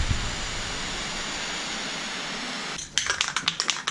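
A metal aerosol spray paint can for coating trailing arms gives a steady, bright hiss of spray for nearly three seconds. Then it is shaken, and about nine sharp, bright rattles of the mixing ball sound in quick succession. The ball rattling freely shows the paint is loosened and mixed.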